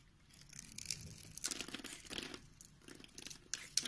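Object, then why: Bar of soap. A utility knife blade scrapes across the finely scored grid surface of an oval, solid pink soap bar held in the hand, throwing off small pink cubes. The sound is a quiet, bright, crisp crunching and crackling made of short scraping bursts with little low end.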